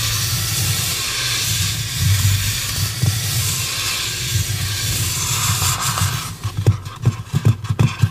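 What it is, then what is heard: Styrofoam mannequin head. A light, head-sized white polystyrene foam mannequin head, held in both hands, is scratched with long pink acrylic nails, making a steady dry, hissy scrape over a low rumble for about six seconds. The nails then tap the foam about five times, giving short, dull, quickly fading knocks.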